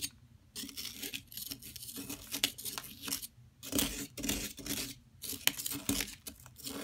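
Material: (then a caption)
Plaster. A metal palette knife scrapes the surface of a solid yellow plaster excavation block, held steady by a hand with long nails. Bright, dry rasping strokes come in bursts separated by brief pauses, and plaster powder crumbles off the block.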